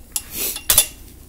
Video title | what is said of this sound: doin' the Valve job thing ; gotta NEWAY system , easy to face & seat .....B&S 10hp flathead | you hear that Hollow sound when it hits